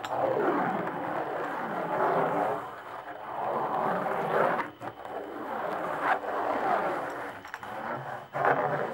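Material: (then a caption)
Hide. Long nails scratch and tap the taut hide head of a hand tambourine with a hollow wooden frame and metal jingles. Continuous raspy, midrange swishing rises and falls in sweeping strokes, broken by a few sharper taps and brief pauses.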